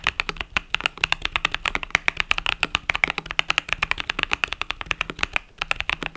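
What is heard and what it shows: Fingertips type rapidly on the plastic keys of a compact mechanical keyboard with pastel purple-yellow keycaps. The result is a fast, steady stream of short, bright clicks and clacks that stop almost instantly, with little low end.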